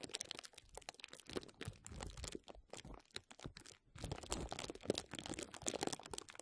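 Clear plastic bubble wrap bunched over a microphone is squeezed and scratched with the fingertips and nails of both hands. It makes a dense, continuous run of crinkling and crackling with sharp little snaps that spread from low thumps up to bright highs. The sound briefly thins out near the four-second mark before picking back up.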